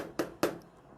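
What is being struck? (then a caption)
Whiteboard. Two short knocks on a whiteboard, about a quarter second apart, each a dry hollow tap centered in the low midrange with a brief bright edge. Both die away almost at once, leaving a quiet background.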